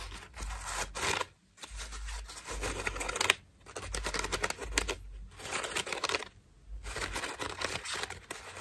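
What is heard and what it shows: Long nails scratch the ruffled petals of a cream foam bath loofah with a rope loop, making dry, bright scratchy rustling. The scratching comes in several sustained bursts separated by brief silent pauses.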